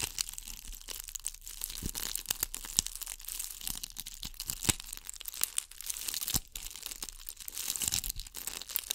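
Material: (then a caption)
Beads. Long acrylic nails scratch a hand-sized gold ball covered in bugle beads, held above the microphone. The result is a dense, bright, crackling rattle of tiny sharp clicks and scrapes that flutters continuously with brief louder ticks.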